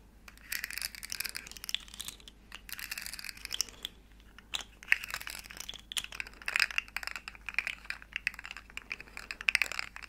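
A small, hollow, rainbow plastic segmented slug fidget toy is bent and clicked by fingers while long nails tap its ridges. The result is dense bursts of bright, dry plastic clicking and crackling, separated by brief pauses. Each click is very short with no ring and almost no low end.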